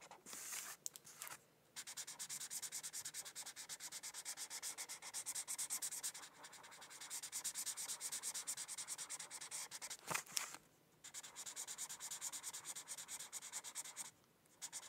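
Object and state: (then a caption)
Felt-tip marker on paper sheet. A white felt-tip marker is rubbed across a thin paper coloring sheet resting on a hardcover book while coloring a mandala. Quiet, bright scratchy strokes run in long continuous bursts with brief pauses between them, plus a sharp tap near the ten-second mark.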